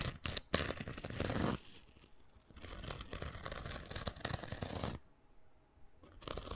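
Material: Abrasive foam.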